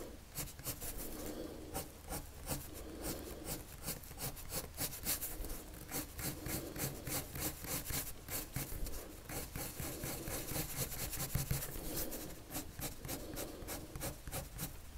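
The tip of a wood-cased colored pencil, held in the fingers, rubs across a thin white sheet of paper lying flat on a table in continuous drawing strokes. The result is a steady, soft, scratchy rasp with bright, crisp grain on each stroke, layered over a low, even hum.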